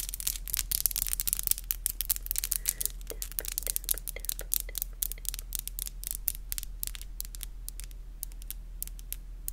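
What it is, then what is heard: Acrylic nails. Long, black, glossy acrylic nails are clicked and rubbed against each other in close-up, nail tapping on nail. Rapid, bright, dry clicks come in dense bursts with soft scratchy rubbing between them. A steady low hum runs underneath throughout.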